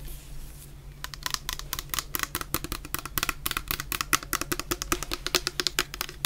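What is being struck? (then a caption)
Plastic shower gel bottle. Long painted nails tap rapidly on the bottom of a medium clear plastic bottle full of orange shower gel. After a second of quiet hiss, a dense run of sharp, bright clicks follows with very short decay and a steady low hum underneath.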